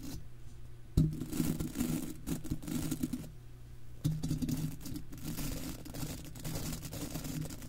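The bristles of a golf club cleaner are scrubbed back and forth over a hollow, silver wire-mesh microphone grille. Close, scratchy brushing rasps continuously with a heavy low rumble and a steady low hum. Two louder scrapes land near the first and fourth seconds.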